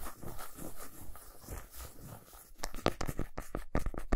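Long nails scratch and rub the flat back side of a solid milk chocolate bar resting on a towel, leaving shavings. For the first two and a half seconds there is a soft, dull, low rubbing. Then come sharper, crisper scratches in quick, uneven strokes.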